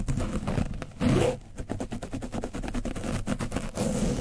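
A black foam brush on a wooden stick is scratched over the top and sides of an orange foam microphone windscreen coated with dried paint. The result is a rapid, dense run of close, muffled scraping strokes, heavy in the lows, with a louder, rougher burst about a second in.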